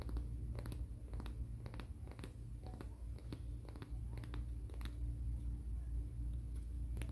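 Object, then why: Emery board nail file rubbed with fingernails. Fingernails are rubbed in a filing, scratching motion along the gritty surface of a black emery board nail file held diagonally. Quick, irregular, dry scratchy strokes sound over a steady low hum.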